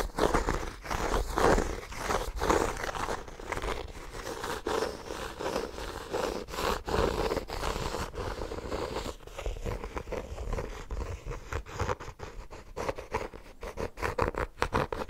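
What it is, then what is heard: Embossed hardcover notebook. A small, solid, brown embossed hardcover notebook, held in both hands, has its cover and spine scratched and tapped with fingertips and nails. Steady low-mid scraping and rustling runs throughout, with many short, dry taps and clicks that quicken and become sharper in the second half.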